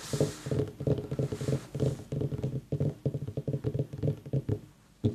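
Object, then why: Pumpkin. A pumpkin is tapped in a rapid, uneven run of about two dozen taps. Each tap is a short, dull, hollow thump centered low around 150 Hz, dying away almost at once. A final louder tap lands near the end.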